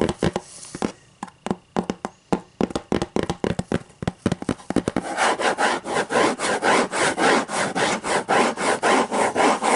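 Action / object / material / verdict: scrape / hardcover book / cardboard / none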